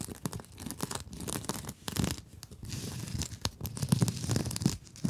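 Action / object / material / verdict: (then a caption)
scrape / nylon mesh scrub sponge / nylon mesh / none. Long nails scratch the surface of a blue mesh-covered scrub sponge held close to the microphone. A dense run of quick, scratchy rasping strokes gives a bright crackle over a soft, thumpy low body, rising and falling in short bursts.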